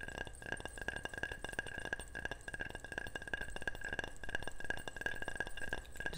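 Repeated light tapping on a ceramic object gives a steady run of bright chinks and clinks, each with a short ring near 1.6 kHz. The taps come quickly and close together throughout, over a low background rumble.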